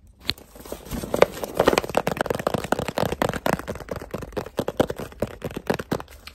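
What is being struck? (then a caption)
Rigid cardboard box. Fingertips tap quickly across the flat face of a medium-sized, rigid black cardboard gift box, held closed in both hands. A rapid, uneven run of short, dry, mid-pitched taps follows, each dying away almost instantly with no ring.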